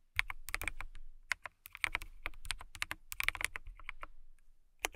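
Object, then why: Acrylic mechanical keyboard. Long nails type and tap on a transparent acrylic mechanical keyboard with clear plastic keycaps and case. A rapid, uneven run of sharp, dry clicks and clacks with a bright edge centered near 2.2 kHz dies away almost instantly, over a faint low rumble. It ends with a short pause and one last tap.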